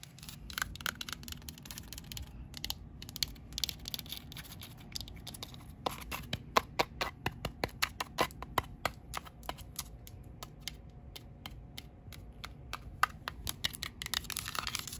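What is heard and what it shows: Long pink acrylic nail tips tap and scratch a flat white painted drywall interior wall, a solid surface, heard close-up. Many quick, sharp clicks with almost no ring come in irregular bursts over soft scratching and a low background rumble.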